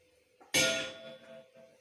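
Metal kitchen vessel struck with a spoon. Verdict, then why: Full. A metal kitchen vessel filled with water is knocked once with a spoon, giving a bright metallic clang. A clear ringing tone sits over a high, shimmering wash and fades within about a second. The knock sets ripples moving in the water, and the tone differs from that of the empty vessel.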